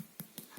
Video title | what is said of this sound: Tutoriel modelage- fin - Faites une grenade en argile. | Quand on la touche, on entend que c'est creux à l'intérieur.